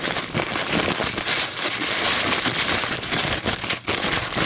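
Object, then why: Paper coffee filter. An empty white paper coffee filter, folded and crumpled, is held up and squeezed and crinkled between fingers with long nails. It makes a dense, steady crackling and rustling that is bright and high, with almost no low end. The sound briefly dips just before the end.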